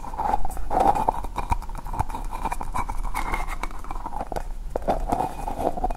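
A small green hollow plastic ball made of two halves is tapped and scratched with long nails while being turned in the hands. Quick, dry clicking taps fall in a steady stream over a hollow mid-pitched ring and soft scratching. The sound stays close and even throughout, with each tap dying away almost at once.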